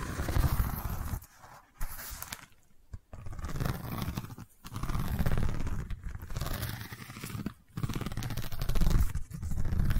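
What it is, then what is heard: Woven wicker tube. Long nails scratch along the woven texture of a long cylindrical woven wicker tube, tilted and held horizontally. The result is bursts of dry, crunchy scraping with a strong low rumble, broken by short quiet gaps.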